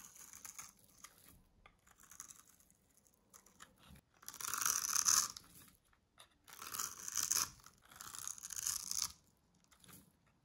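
A small metal blade scrapes cubes away from a pre-scored green bar of dry solid soap held in the hand. Soft, light scratches are followed by three longer, louder scraping passes with a bright, crumbly, crunching texture. There is almost no low end and no ringing after each pass.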